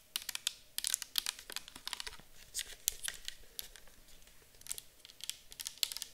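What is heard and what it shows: A clear plastic micellar water bottle full of liquid is held and tilted while long acrylic nails tap and scratch it. The result is a quick, uneven run of sharp, bright clicks and scratchy ticks that stop dead with no ring and have almost no low end.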